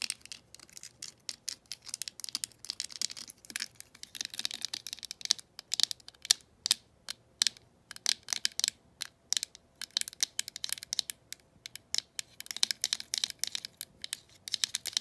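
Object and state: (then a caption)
Plastic telephone handset. Long acrylic nails tap and scratch along the glossy side of a green, hollow plastic handset from a vintage rotary phone held in the hand. A rapid, irregular stream of sharp, dry clicks mixes with bright, hissy scraping. The sound sits almost entirely in the high range, with no low end, and each tap dies away instantly.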